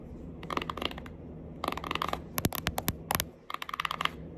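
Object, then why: Cardboard eyeshadow palette. Long acrylic nails tap and scratch a small, flat, pink printed cardboard Winky Lux eyeshadow palette, a hollow case held in the hands. Dry, quick clicky taps with a hollow, mid-pitched tone come in rapid bursts, mixed with brief bright scratches. A faint low hum sits underneath throughout.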